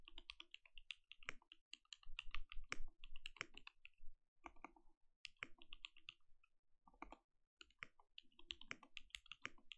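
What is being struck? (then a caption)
Mechanical keyboard with plastic keycaps. Both hands type with their fingertips on a compact mechanical keyboard with plastic keycaps. Quick, dry key clacks come in irregular bursts separated by short pauses. Each keystroke is bright with a soft low thump underneath and dies away almost at once.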